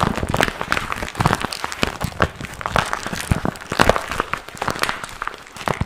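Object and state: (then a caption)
Vinyl zip pouch being crinkled. A small, empty, glossy pink patent vinyl zip pouch is held close and crinkled and squeezed between the fingers. It makes a continuous run of sharp, dry crackles and pops with almost no ring, over a soft rustle for about six seconds.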